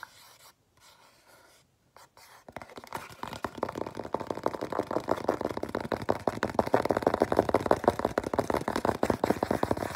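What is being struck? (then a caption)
Small printed cardboard box. The flat printed face of a small, hollow, white printed cardboard box is scratched with the fingernails of both hands. After about two and a half seconds of near silence, a dense run of rapid, dry midrange scratching starts and gradually grows louder and busier toward the end.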